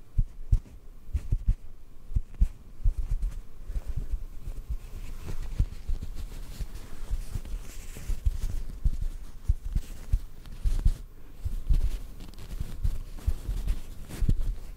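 A small white cotton ball held in one hand is gently tapped and pinched with the fingertips of the other hand. It gives a steady run of soft, dull, low thumps with almost no brightness, each one dying away almost instantly.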